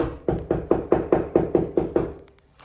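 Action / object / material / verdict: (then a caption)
knock / ceramic floor tiles / ceramic / hollow. Ceramic floor tiles laid on a timber floor in an old cottage bathroom are knocked in a steady run of about ten quick, evenly spaced knocks. Each knock gives a short, hollow, mid-pitched tock that fades fast. The tiles sound hollow because floor movement is shifting them, likely because they were laid straight onto the floorboards without ply.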